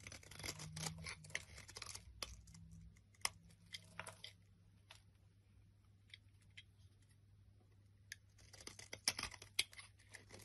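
A flat blade scrapes and cuts along the top edge of a solid olive-green bar of soap held in the hand. The result is quiet, dry, bright scraping and crisp cutting bursts, busiest at the start and end and sparser in the middle, over a faint steady low hum.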